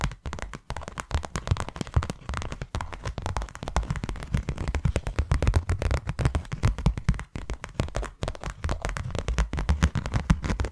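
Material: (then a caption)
Cardboard. Long nails tap rapidly on the faces of a closed, hand-sized white cardboard box. The result is a dense, continuous patter of short, dull, low-heavy taps with almost no ring, steady in loudness throughout, with a few brief pauses.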